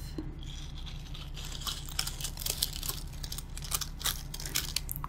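Fingertips with painted nails brush and scratch the stiff synthetic bristles of a small green glittery bottle-brush Christmas tree, held in hand in a silver metal pot. The result is a run of dry, crunchy, bright scratching crackles with brief sharper bursts, over a steady low hum.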